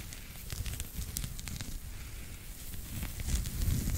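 Fingertips and short nails scratch a small, soft pink knitted pig toy, stuffed or hollow, held in one hand close to the mic. The result is a dense, uneven crackling rustle with a heavy low rumble and scattered bright ticks, growing slightly louder toward the end.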